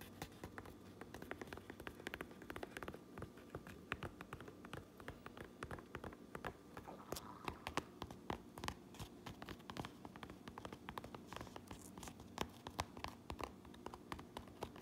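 Long nails scratch the red stitched bill of a Uinta fabric trucker cap and tap its black front panel and embroidered patch. The result is a quiet, steady stream of rapid, dry taps and scratchy rustling with a soft low thud underneath, each tap dying away almost instantly.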